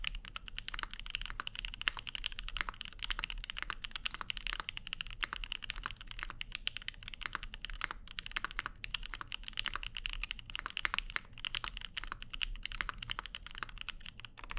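Both hands type continuously with their fingertips on a Keycult No 2/65, a 65% mechanical keyboard with Lavender switches and plastic keycaps on an aluminum plate. It makes a dense, steady stream of short, crisp clacks, bright and centered around 2.8 kHz, with a faint low rumble underneath. Each keystroke dies away almost instantly.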